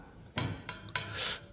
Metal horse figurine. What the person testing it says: 音がしますね これは中実ではないことを示しています